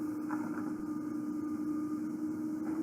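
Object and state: Nothing is struck.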